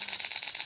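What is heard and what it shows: A plastic fishing lure with beads inside its internal rattle chamber is shaken, giving a fast, bright, high-pitched rattling with repeated clicks and almost no low end. The bead type changes the sound, and this one gives a light, tinny rattle.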